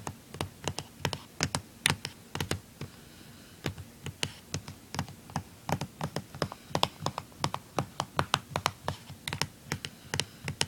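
Fingernails tap and scratch the back casing on the underside of a blue plastic handheld game console, which has screws and a sticker. A steady run of short, dry, clicky taps with a bright edge and almost no ring comes through, with a brief pause near the three-second mark and faint scratching between the hits.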